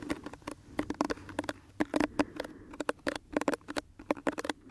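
A small pink plastic detangling hairbrush is held close to the microphone while fingertips and nails scratch and rub across its bristles. The result is a quick, uneven series of short, dry clicks and scratches with a faint low hum beneath, and each stroke stops almost instantly.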